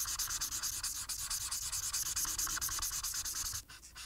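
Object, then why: Marker tip rubbed on a paper sheet. A marker tip held in the fingers colors a single flat paper coloring sheet with dense back-and-forth strokes. The marker rubs on the paper in a quick, slightly uneven run of bright, scratchy strokes, about three per second. The strokes grow softer for a moment near the end before picking up again.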